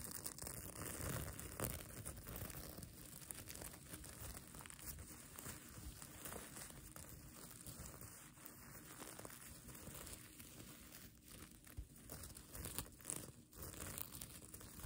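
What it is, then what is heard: Plastic sequin blanket being scratched. Long nails scratch and pinch the multicolor reversible plastic sequins sewn onto the fabric of a mermaid tail blanket. The result is a soft, continuous crinkling and scratchy rustle with bright clicky edges and a few louder bursts.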